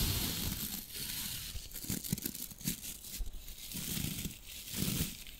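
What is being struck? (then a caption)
Natural bristle body brush. Fingertips and a palm rub across the stiff natural bristles of a hand-sized dry body brush with a white handle. The result is a dense, scratchy, crackling rasp with bright hiss and soft low thuds, swelling and easing in uneven strokes.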